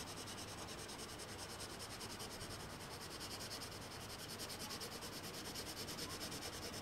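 A blue colored pencil shades on a single thin sheet of white paper lying flat on a table, its tip rubbing and scratching across the surface. The result is a steady, bright, dry scratching hiss that pulses with quick back-and-forth strokes of even loudness throughout.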